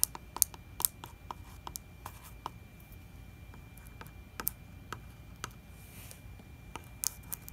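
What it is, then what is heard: Plastic water jug tapped with fingernails. A fingertip and nail tap and scratch across the glossy plastic label of a large 4 L plastic distilled-water jug that looks full. Quiet, sharp, bright clicks come at an irregular pace over a soft scratchy hiss, each dying away instantly with no ring.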